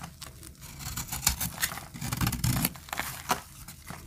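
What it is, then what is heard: Dry soap bar being cut. A metal blade cuts and scrapes crumbly layers off a solid, dry peach soap bar held in the hand. Dry, crisp scraping and crackling strokes come in quick bursts with bright crumbly edges over a soft, low rumble. The short, sharp scrapes stop quickly and leave little ring.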